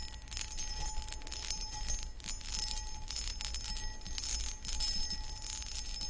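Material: Cut crystal.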